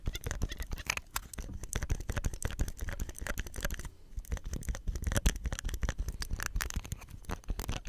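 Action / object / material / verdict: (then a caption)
scrape / plastic soap pump head / plastic / none. Fingertips press a hollow green plastic soap pump head with a ribbed collar and scratch along the plastic close to the microphone. A dense, rapid stream of short clicks and scratchy taps sounds, heavy in the low end with thin bright edges. The activity briefly quiets near the middle before resuming.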